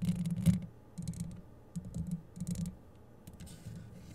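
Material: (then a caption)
Metal mesh. Long yellow acrylic nail tips scratch and tap the rounded, hollow metal mesh head and metal body of a grey microphone. Bursts of dense, low, rumbling scratching come in clusters with short quiet gaps, topped by a few faint bright flecks. A sharper tap stands out near the half-second mark.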